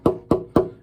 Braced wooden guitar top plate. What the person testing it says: it will actually make a tone